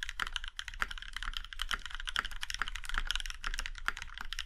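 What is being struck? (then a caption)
Mechanical keyboard with metal case. Fingertips of both hands type quickly on a compact Iron 165 mechanical keyboard with a plum-red aluminum case and black keycaps. The result is a steady stream of crisp, bright clacks that die away almost instantly, over a faint low rumble.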